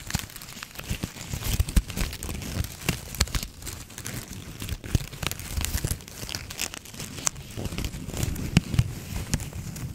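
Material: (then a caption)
Plastic. A red and white plastic ribbon gift bow is squeezed and scratched with long nails close to the mic. The result is a continuous stream of crinkling, crackling rustles with many sharp, bright clicks over a low, muffled rumble.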